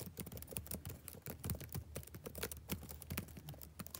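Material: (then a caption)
Plastic. Fingertips type rapidly on the plastic keys of a backlit laptop keyboard. A steady run of quick, soft taps is heard, each a dull low thud with a light bright click, dying away almost instantly with no ring.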